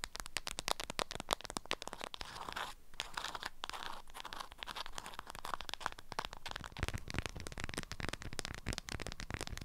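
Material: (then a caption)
Waxed cloth. Long acrylic nails scratch and squeeze a small bundle held in the hand and wrapped in an orange-print beeswax-coated fabric wrap with stiff, crinkly folds. Dense, rapid crinkling and crunching scratches run throughout, with a brief softer rustle near the three-second mark before the sharp crackles pick up again.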